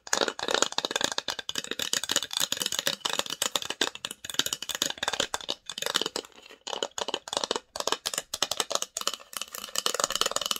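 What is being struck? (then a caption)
Small varnished wooden box. Long nails rapidly tap and scratch the engraved lid and side edges of a small, hollow, varnished wooden box. The result is a dense run of sharp, dry clicks and scrapes with a bright, high-heavy tone and almost no low end. Each tap dies away almost instantly.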